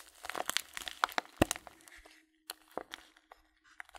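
Fingertips crinkle the paper edge of a filled Blutorange paper tea bag held in one hand near the camera. Quick, dry, bright crackles and crunches come in dense bursts, fall briefly silent, then return as sparser crinkles.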